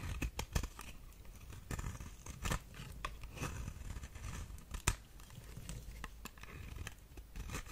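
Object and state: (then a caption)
Dry soap bar scraped with a knife. A knife blade scrapes across the face of a solid, dry, white figure-shaped soap bar held in the hand, peeling off flakes. Soft, dry scraping and crackling run throughout, punctuated by sharp, bright ticks and crunches as the flakes break away.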